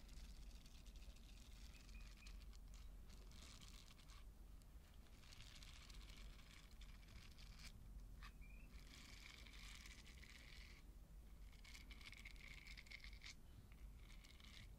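Long nails scratch and flick across the dense soft bristles of a small purple silicone body scrubber, a solid flexible pad held in the hand. Soft, steady crackling scratches come in bursts, with a faint low rumble underneath throughout.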